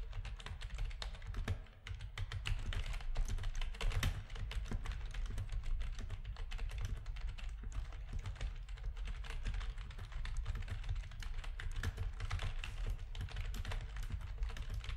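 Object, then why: Plastic computer keyboard. Fingertips of both hands type rapid key presses on a full-size black plastic backlit RGB gaming keyboard with a hollow housing. The result is a dense, steady stream of short, dry clacks over a deep, hollow low-end thump, with a brief lull near the two-second mark before the typing picks back up.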